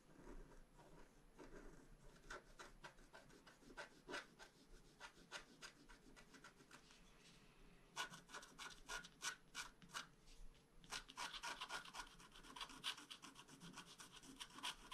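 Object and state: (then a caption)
Scratch-art paper sheet. A bamboo stylus scratches the coating near the top of a flat scratch-art card page in quick, irregular strokes, making dry, bright rasping scrapes over a faint low hum. The scratching is soft at first, then grows louder and denser from about the eighth second and again near the eleventh.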